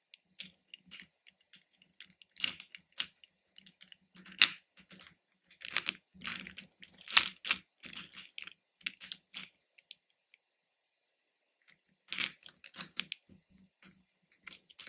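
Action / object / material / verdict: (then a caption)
shake / hard-shelled candy pieces in a plastic bowl / hard candy / none. Fingertips and nails rummage and stir through many small, hard-shelled, capsule-shaped red, orange and yellow candies in a small pink plastic bowl. The loose candies make bright, dry clicks against each other and the bowl, in irregular bursts with a quiet pause near the end.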